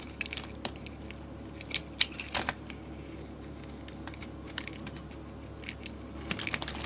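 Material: Soap.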